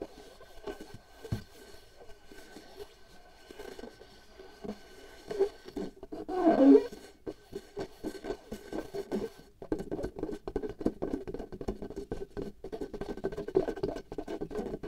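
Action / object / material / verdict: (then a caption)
scrape / latex membrane stretched over a small glass jar / latex / none. A pale latex glove membrane is stretched tight like a drum skin over the mouth of a small hollow glass jar held in one hand, while long manicured nails of the other hand scratch and tap the latex. The result is a stream of soft, muffled, dull taps and scratchy rubs, with a louder rubbing swell partway through and denser, quicker tapping afterward.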